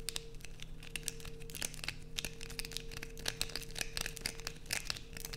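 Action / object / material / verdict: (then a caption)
scrape / solid bar of soap / soap / none. A solid blue bar of soap held in the hands is aggressively scratched with long nails, giving dense, bright, crackly scraping bursts in quick succession. A faint steady low hum runs underneath throughout.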